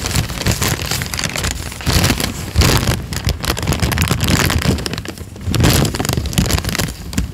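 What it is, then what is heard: Paper sheet being crinkled. A thin, partly torn peach paper sheet is crinkled, folded and ripped by hand. It gives a continuous, dense crackle with bright rustling over a low, rumbling body. The crackle swells and dips in loudness throughout.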